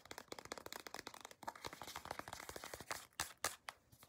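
Long acrylic nails scratch and tap the front and back of a small, soft plastic CeraVe moisturizing cream tube. The result is a quiet, rapid run of bright, crinkly scratches and dry clicks with almost no low end, ending in a few sharper, louder taps.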